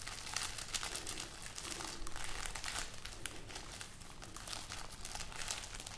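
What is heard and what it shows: A hanging string of dried, hollow red chili peppers is held close and rubbed and crinkled with fingers and nails. The result is a steady, dry, papery crackling with bright, crisp transients over a low rumble.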